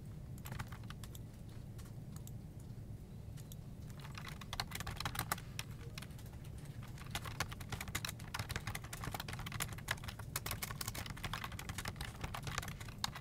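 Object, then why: Plastic computer keyboard. Fingertips type on a full-size black plastic desktop keyboard with hollow keycaps, giving a stream of short, bright clicks and taps. The typing is sparse for the first few seconds, then grows faster and denser, all over a steady low hum.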